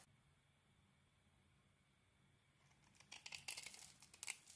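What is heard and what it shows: A small metal blade shaves a solid, hand-sized rectangular Nature Box bar of soap with a gold-coated surface and cream interior. After nearly three seconds of quiet, faint steady hiss, bright, dry scraping and crackling strokes begin and build in bursts, with the sharpest peaks near the end.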